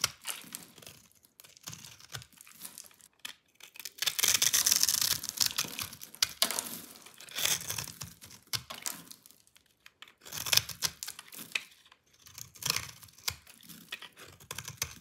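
A metal utility-knife blade scrapes the scored surface of a solid rectangular bar of dry pink soap held in hand, crunching it off in flakes and cubes. The result is a dry, bright, irregular crackle of crisp snaps and crumbly scraping, with louder sustained crunching bursts between quieter flaking stretches.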